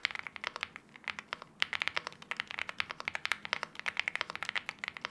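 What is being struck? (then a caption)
Aluminium-case mechanical keyboard with plastic keycaps. Both hands type continuously with their fingertips on an aluminium-case 75% LEOBOG Hi75 mechanical keyboard with wine red plastic keycaps. About forty quick, crisp keystrokes are heard, with a brief pause near 1.3 seconds. Each click is sharp and bright, centred around 2 kHz, and dies away instantly with almost no low end.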